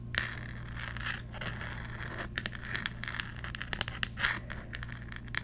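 Long nails scratch and tap the glittery, textured pumpkin on the cover of a thick cardboard children's Halloween board book with a handle cutout. The result is a dry, crackly rasp centered around 1.9 kHz, broken by sharp, bright clicks that die away almost instantly, all over a steady low hum.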